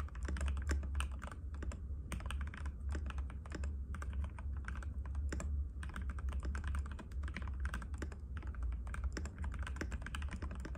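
Both hands' fingertips type continuously in rapid taps on a compact cream-white mechanical keyboard with plastic keycaps and a hollow case, resting on a glass table. The clip is a dense, unbroken stream of short, sharp plastic clacks, with a steady low hum underneath throughout.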